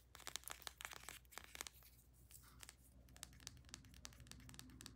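Long nails tap and scratch quickly along a small plastic tube of bath soak with a paper label, held in both hands. The clip is a rapid series of sharp, bright clicks mixed with dry, crinkly scraping, and each tap dies away almost instantly.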